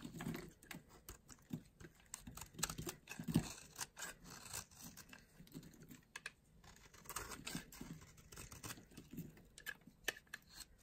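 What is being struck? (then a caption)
Bar of soap. A small blade shaves a solid, light green oval bar of dry soap held in the palm, producing a rapid string of short, crunchy scrapes. Each scrape is quiet and dry, with a soft low-mid body and bright crackling edges that die away almost instantly.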